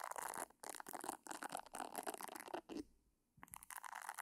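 Long painted nails scratch across the soft silicone nubs on the round head of a hand-sized pink silicone facial cleansing brush, held beside the microphone without touching it. Quiet, dense, crackly scratching comes in bursts with a bright, hissy edge, broken by brief pauses and a longer gap near the three-second mark before the scratching resumes.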